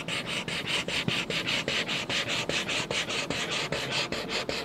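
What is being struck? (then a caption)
Coloured pencil on a paper sheet. A coloured pencil tip scratches and rubs grid lines onto a green paper sheet resting on a stack of coloured paper while a hand steadies it. About fourteen rhythmic, bright, raspy strokes repeat at a steady pace, each a short dry scrape with little low end.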